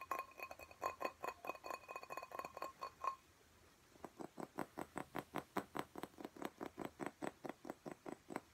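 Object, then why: Glass plant pot filled with soil. Fingernails tap the sides and bottom of a clear glass cactus pot full of soil, producing quick, bright clinks. A fast, uneven burst carries a ringing glassy tone near 1 kHz, then after a brief pause a steadier run of short, dull taps continues.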